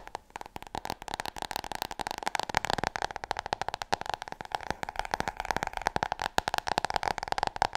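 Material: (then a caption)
Cardboard, paper. Long nails rapidly tap and scratch across a large, solid, glossy hardcover book, making dense, dry clicks with almost no ring over about eight seconds. A faint steady tone near 800 Hz runs underneath the bright, crackly patter.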